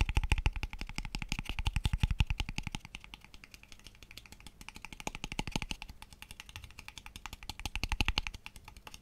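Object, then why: Small hollow wooden box. A small, light-coloured, hollow wooden box with open ends is held up close in front of a microphone and tapped very fast with fingertips and nails. The result is a dense, uneven stream of short, dry taps, each with a deep hollow thump underneath and a bright clicky edge. The taps swell louder and fade back in waves across the clip.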